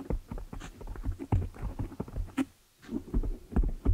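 Long nails scratch and fingers rub a black foam windscreen on a desktop microphone. Close, muffled scratching and rubbing come as irregular low thumps and soft rustles, with a brief silent pause just past the midpoint before it resumes.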